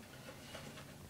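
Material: Nothing is struck.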